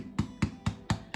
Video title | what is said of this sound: Christabell McCartney making soda bread at the Ulster Folk Museum | you can hear that nice hollow sound. That means that they're cooked